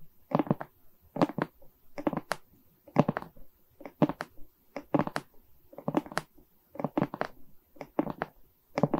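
Long nails scratch and tap across the resin rhinestone beads of a diamond painting mounted on a wooden frame. Quick bursts of dry, crackling clicks come in clustered runs about once a second, with soft, muffled body and little brightness between them.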